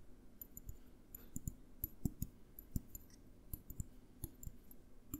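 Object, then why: Small glass jar with lid. Fingertips and nails tap on a small clear glass jar with a green label and lid, held in the hands close to the recorder. Quick, irregular clicks with a dull low body and faint bright glassy pings die away almost instantly, about nineteen separate taps over five seconds.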